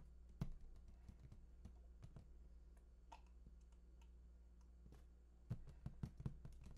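Fingertips tap and scratch the lower front face of a large, hollow, printed cardboard PS4 console box. The result is quiet, dull, hollow taps with a low thump and almost no ring, mixed with soft scratching over a steady low hum, with a few louder taps near the start and end.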